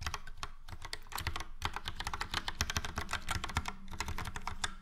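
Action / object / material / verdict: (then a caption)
tap / plastic mechanical keyboard / plastic / none. Fingertips of both hands type steadily on a Logitech POP Keys, a full-size plastic mechanical keyboard with a yellow frame and round dark grey and light grey typewriter-style keycaps. Dense, rapid clicky keystrokes follow one another with bright clacks over a low thocky body and very short decay.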